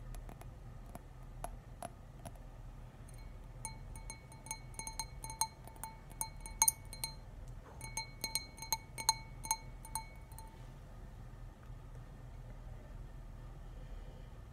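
A large, clear, stemmed wine glass, hollow and partly filled with beer, is held in one hand and tapped on the bowl with fingertips and nails. The result is a string of short, bright clinks with ringing high tones. They come irregularly over about ten seconds against a low, steady background rumble, and then the tapping stops.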